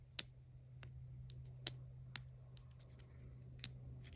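A tiny Vaseline-style Mini Brands toy jar, with a clear or cream plastic body and a dark blue plastic lid, is held in the hand and tapped and scratched with long acrylic nails. Sharp, bright plastic clicks sound at irregular intervals over a low steady hum, each dying away almost instantly.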